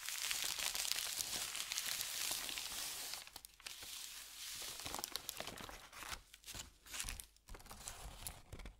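A thin white paper sheet is smoothed with fingertips, giving a steady, dense bright rustle for about three seconds. It is then lifted and crinkled by hand, producing irregular bursts of sharp, high crackling separated by brief quiet gaps.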